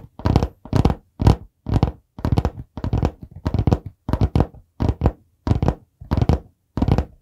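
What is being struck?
Hardcover notebook with board cover.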